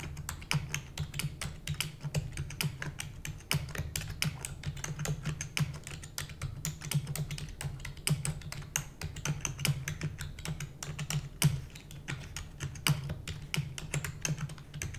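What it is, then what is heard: Plastic computer keyboard. A full-size black plastic computer keyboard with hollow keys is typed on rapidly by both hands, using long nails and fingertips. Dense, continuous clicking and clacking fills the clip, with sharp bright key taps over a steady low hum near 145 Hz. The short, dry strikes blur together into an unbroken stream of typing.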